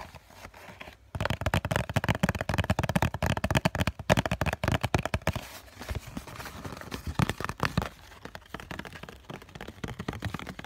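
A hollow COCON cardboard tissue box is tapped with fingertips, first on its bottom face and then on its end face. After a soft, faint opening, a second of rapid, dense, dull hollow thuds follows, heavy in the low end with very short decay. It then eases into quieter, sparser tapping with a few louder knocks through to the end.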